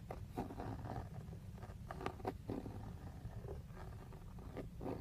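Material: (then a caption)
Plastic. Fingertips and short nails tap and scratch the lower part of a hollow, textured black plastic steering wheel airbag cover. Soft, dull taps stand out over a steady low rumble and scratchy rustling. The taps are short and dry, with almost no ring after each one.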